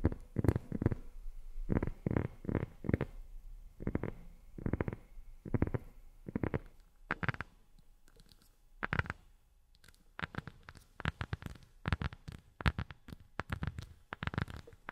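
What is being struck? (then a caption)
Thin flat rubber disc. A round, thin, flat black rubber sheet disc held in both hands is tapped and scratched with long nails and fingertips. The result is a series of soft, low, muffled taps and rubbing scratches, with brief quiet pauses between the bursts.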